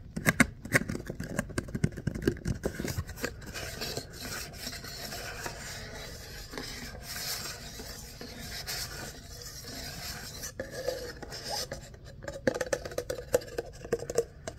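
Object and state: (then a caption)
Ribbed paper coffee cup. Fingertips and short nails scratch and rub the ribbed sides of an empty, hollow kraft-paper coffee cup held in both hands. Dry, papery rasping and scraping come in quick bursts, louder at the start and toward the end, with a softer steady rubbing in between.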